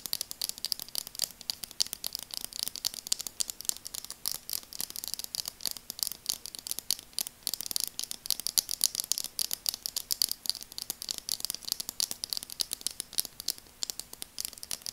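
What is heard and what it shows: Long nails tap and scratch the frame of burgundy translucent plastic glasses, producing a rapid, continuous stream of sharp, bright clicks with scraping in between. The sound is thin and high with almost no low end, each click dying away instantly, over a faint steady low hum.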